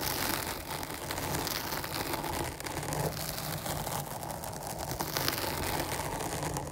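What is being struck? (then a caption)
Foam microphone windscreen. Long nails scratch the top and sides of a dark foam microphone windscreen, producing a continuous close-up scratching and crackling rustle. The texture stays steady and dense throughout, with broad low rumble and bright, fizzy grit.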